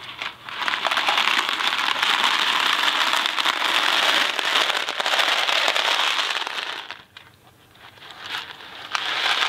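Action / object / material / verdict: shake / cardboard box filled with dry pasta / cardboard / none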